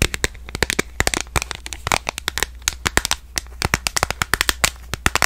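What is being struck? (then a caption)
Smartphone in a plastic case. Long nails tap rapidly on the back of a smartphone in a purple plastic case, which is held horizontally in both hands. Dozens of short, sharp, bright clicks come in quick irregular bursts, each dying away almost instantly. A faint steady low hum runs underneath.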